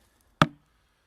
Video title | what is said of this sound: Splitting Sweet Chestnut logs using wooden wedges. | that's the sound of the wood fibers literally tearing apart